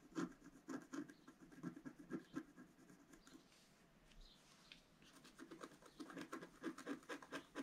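A wooden stylus scratches the black coating of a flat, solid scratch art card, about A4, with coloured foil paper underneath, lying on a table. Quick, uneven rasping strokes repeat with a bright edge, fade to a softer, quieter scraping in the middle, then pick back up into rapid strokes.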